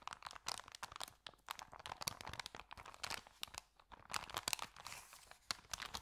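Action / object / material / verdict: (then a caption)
scrape / paper sandwich bag / paper / none. An empty white paper Subway sandwich bag with green print is held in both hands while the fingers bend and crinkle its edges. The result is a dense, continuous run of crisp, bright crackles and rustles with sharp snaps and almost no low end, at a fairly quiet level.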